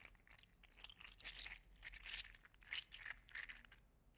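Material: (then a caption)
PLA plastic. A gold and green segmented 3D printed PLA articulated slug toy is curled and squeezed in one hand, rattling its segments. The result is a quiet run of bright, crunchy plastic clicks and rattles in uneven bursts, with little low end and a very short decay.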